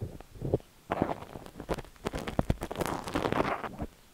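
A long, thin steel ear pick with a spiral tip scratches inside the canal of a cream silicone dummy-ear microphone held by fingers. The result is close, dense scraping and crackling with many short, sharp scrapes. There are a few quiet pauses, and the low rumble comes from the ear being handled.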